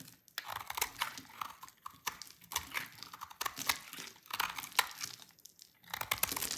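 A utility knife blade scrapes across a rectangular, solid, dry orange laundry soap bar, piling up crunchy orange shavings. Dense runs of crisp, bright scraping crunches come in bursts with short pauses between them, with almost no low end.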